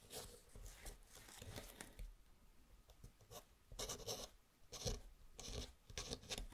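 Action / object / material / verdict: scrape / kraft-paper luggage tag with pen nib / paper / none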